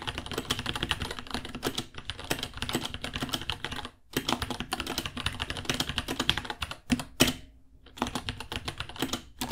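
Fingertips type steadily on a white 66-key mechanical keyboard, about 30 cm, with plastic keycaps and a hollow case. Fast clacky keystrokes run in bursts with brief pauses near four and eight seconds. Each press gives a short, bright plastic click over a hollow low thock.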